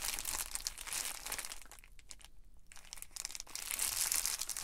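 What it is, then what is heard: Plastic bubble mailer crinkling. Fingertips and palms rub and scratch the plastic bubble surface of an Amazon Prime poly bubble mailer lying flat on a table. The result is dense, bright crinkling and scratching. It eases into a quieter, sparser stretch in the middle, then builds back to full crinkling at the end.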